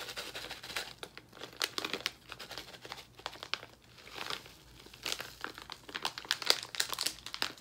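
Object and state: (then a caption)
Plastic candy bag being crinkled. A small blue plastic foil bag full of sour gummy candies is held in both hands over a marble counter and crinkled and squeezed with the fingertips. The sound is a steady stream of bright, crisp crackles and rustles with short sharp snaps and almost no low end.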